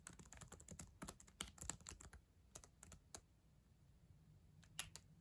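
Long acrylic nails type on the plastic keys of a black ThinkPad laptop keyboard, making quick, bright clicking taps with almost no ring. A dense burst of keystrokes is followed by a quiet pause, then a few more taps near the end.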